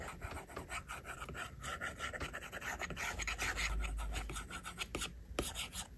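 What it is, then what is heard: Glass tablet screen drawn on with a stylus. A plastic stylus tip draws on the glass screen of an iPad, making long rubbing strokes. The result is a steady, dry scratching and rasping with frequent short strokes and bright, hissy edges over a faint low rumble.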